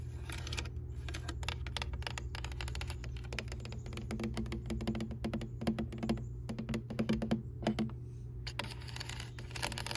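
A white, ribbed, hollow aluminum rain gutter downspout, about arm length and lying empty on grass, is tapped and scratched along its ridged bend section by long pale nails and fingertips. Quick, dense clicking and scraping sounds like typing, with a faint hollow ring over a steady low rumble.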